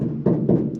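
Three knocks on the bare, uninsulated sheet-metal roof panel of a Mustang give a hollow, low boomy thud with a short metallic ring after each. The panel sounds hollow because it is still uncovered, and it is about to be lined with 80 mil Kilmat sound deadener to take care of that noise.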